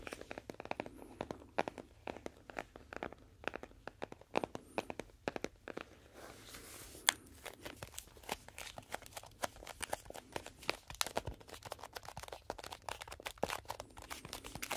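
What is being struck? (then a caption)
Cardboard playing card box. A small rectangular printed cardboard box of 52 playing cards, likely full and possibly shrink-wrapped, is held in both hands close to the mic and scratched and tapped with fingertips and nails. Dense, dry, crisp taps and clicks mix with bright scratching and crinkling, with a short burst of steady hiss around the middle. Each sharp hit dies away almost instantly, with no ring.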